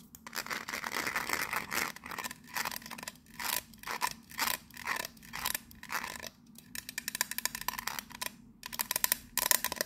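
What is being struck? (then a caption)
Metal biscuit tin. Long nails tap the side and lid of a pink metal biscuit tin with a teal lid. Quick, bright, clicky taps come in uneven bursts, some running into short scratchy stretches. Each tap dies away almost at once, with a light metallic ring.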